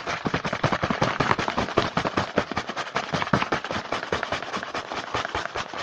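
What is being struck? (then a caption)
Small cardboard box. Fingertips tap and scratch fast on the front of a small printed cardboard Hanuta snack box held in the hand. The result is a rapid, irregular stream of dry, crackling taps with a papery scratch, each one short and dying away almost at once.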